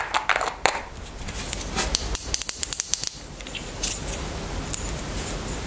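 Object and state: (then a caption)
Plastic roll-on deodorant bottle. A small white plastic roll-on deodorant bottle is handled and then stood on a table while long nails tap it. A series of sharp, bright, dry clicks rises over soft rustling handling noise, with a quick run of taps in the middle.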